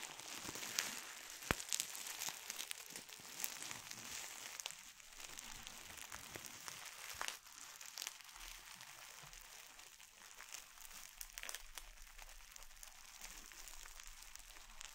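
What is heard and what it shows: A small wad of clear plastic bubble wrap is twisted tightly between both hands, popping bubbles and crinkling the plastic. Soft, bright, dense crinkling is broken by sharp little pops, loudest and busiest in the first half before settling into quieter, steady rustling.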